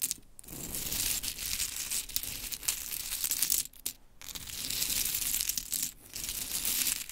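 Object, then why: Small wooden mini clothespins. Hands with long chrome nails scoop, rub and drop small solid pink wooden mini clothespins onto a pile resting on glitter fabric. The result is a dense, bright wooden clatter and rustle that runs almost continuously, with brief quiet gaps near the start, around four seconds and just before six seconds.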